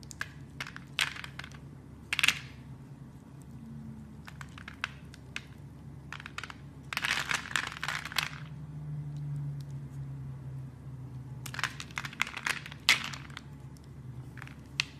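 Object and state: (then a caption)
Carved soap bar. A blade carves a solid, hand-sized red translucent soap bar held in red-nailed fingers, snapping cubes off its scored surface. Sharp, bright, crisp clicks and crunches come in scattered bursts, with denser crumbly runs around the middle and later in the clip. Each snap dies away quickly over a faint low hum.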